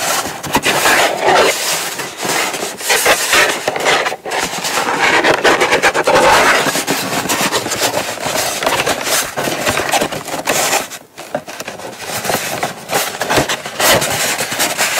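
Long nails tap rapidly and continuously on the lid and sides of a small, closed, hollow brown kraft cardboard gift box resting on a mat. The dense, dry clicks have a hollow mid-pitched knock and bright edges, with each tap fading quickly. There is a brief lull near the end before the tapping resumes.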